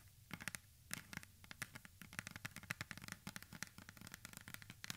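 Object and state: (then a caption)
Plastic spray bottle. Long manicured nails scratch and tap the sides of a medium blue plastic spray bottle with a white pump top, hollow and holding liquid, held close to the microphone. A rapid, uneven run of sharp, bright clicks and dry scratches rises over a faint low rumble, each tap dying almost instantly without ringing.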